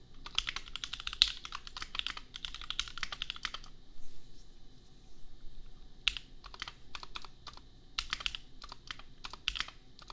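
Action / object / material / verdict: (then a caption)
tap / mechanical keyboard with plastic keycaps / plastic / none. Fingertips of both hands type on a compact $250 custom mechanical keyboard with Gateron Milky Yellow switches and red/pink plastic keycaps. A quick run of bright, short clacks fills the first few seconds, then after a brief near-silent gap the keystrokes return more slowly and spaced apart. Each click dies away almost instantly, leaving a low, steady background hum beneath.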